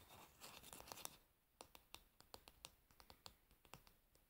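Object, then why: Wooden hairbrush handle tapped with fingernails. Long nails scratch across the glossy varnished back and handle of a solid wooden hairbrush in a bright, raspy burst. They then tap it in a quick series of sharp, dry clicks that die away almost instantly. The whole clip is quiet and close.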